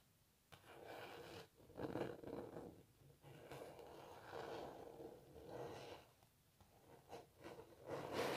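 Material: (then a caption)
Canvas. Long natural nails scratch across a canvas painting of a cellist, then fingertips rub at the canvas edges. The sound is a soft, dry scratching in rising and falling bursts with a papery midrange body and little low end, quiet overall with brief pauses between strokes.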